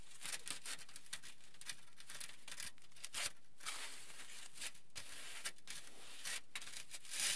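Both hands rub, pat and crinkle a flat, crinkled aluminium foil sheet with their fingertips. The result is a steady stream of bright, crackly rustling with short louder bursts of crinkling scattered throughout.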